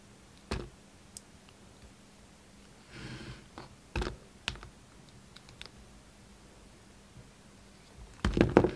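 A red utility knife's steel blade carves a solid, hand-sized bar of white-and-yellow striped soap, producing soft, dull clicks and taps spaced apart over a quiet background. A brief, breathy scrape follows, then a few sharper cuts. The clip ends in a louder, denser burst of rapid cutting and scraping against the soap.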